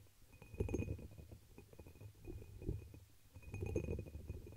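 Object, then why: Pressed glass chalice. Long pink nails tap and scratch a hollow, dark red embossed pressed-glass chalice held over the microphone. Soft, muffled taps and scrapes come in three swells over a deep, rumbling low end, with a faint thin ring around 2.5 kHz lingering between them.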